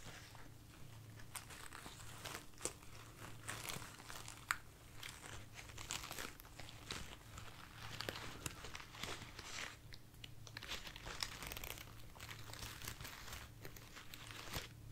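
A bunch of light, soft white artificial foam roses is held in the hand, squeezed, rubbed and scratched with long nails. It makes a steady stream of dry crinkling and crunching rustles with bright, sharp scratches, over a low, constant hum.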